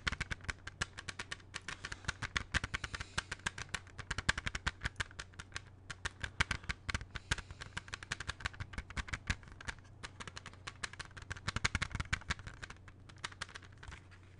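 Fingertips tap repeatedly on the cover of a closed plastic CD jewel case held in both hands. A rapid, uneven run of sharp, dry clicking taps with a bright plastic tick continues throughout, over a faint steady low hum.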